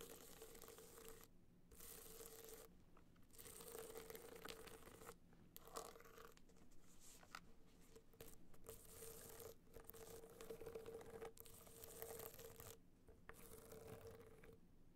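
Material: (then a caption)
Metal, rhinestones. A gold rhinestone-studded hard-shell clutch stands on end while the long nails of both hands scratch and tap along its edges and face. The result is a dense, crinkly scratching with quick taps and a steady hum-like tone near 450 Hz, broken by several brief pauses.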